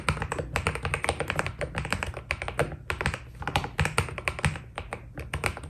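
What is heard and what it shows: Fingertips of both hands type on a white Keydous NJ80 mechanical keyboard with PBT keycaps, producing a fast, continuous stream of short, dry key clacks with brief bright ticks. A steady low hum sits underneath the typing throughout.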